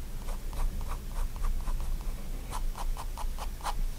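A fine-tip pigment liner pen makes repeated short hatching strokes on the page of a spiral-bound white paper sketchbook lying flat on a wooden desk. Each stroke is a soft, dry scratch, with quick bursts running in a steady rhythm over a low, constant background hum.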